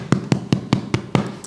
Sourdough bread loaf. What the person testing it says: give it a tap on the bottom, sounding nice and hollow